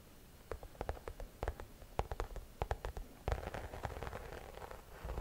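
A medium-size, hollow, cream croc-embossed shoulder bag in leather or faux leather is held up and scratched across its front with long nails. A series of quick, dry, separate scratches gives way after about three seconds to denser, continuous raspy scratching. The sound is quiet and close, with little high-end brightness.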